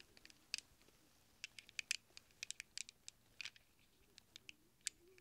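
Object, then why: Small chrome steel sockets. A cluster of small hollow chrome steel sockets is held in a cupped hand while fingertips press and shuffle them against each other. About twenty quiet, bright metallic clicks and clinks scatter irregularly, with a short rattle near the middle, each one sharp and dying away almost at once.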